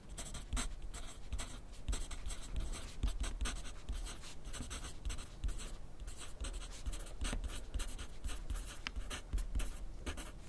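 A yellow wooden graphite pencil writes continuously on a thin grid paper sheet resting on a white clipboard. The pencil tip makes steady, bright scratching strokes in quick, uneven bursts, over a soft low thudding from the clipboard.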